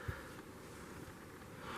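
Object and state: Nothing is struck.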